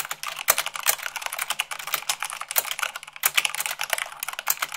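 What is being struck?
Plastic mechanical keyboard keys.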